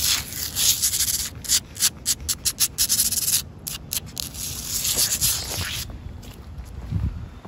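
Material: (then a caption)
Concrete. Long acrylic fingernails scratch and rub across solid, rough, wet outdoor concrete ground, with a boot briefly in view. A bright, hissy scraping is heard, breaking into a quick run of short rhythmic strokes before settling into steadier rubbing that fades toward the end.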